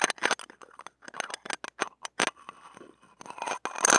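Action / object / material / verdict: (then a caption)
scrape / stainless steel ear pick on a steel wire-mesh microphone grille / steel / none. The shaft and tip of a stainless steel ear pick are scraped across the wire mesh of a small hollow metal-mesh mini microphone head. A quick series of short, bright, rasping scratches is heard in separate bursts with little low end, and the scraping grows louder and more continuous toward the end.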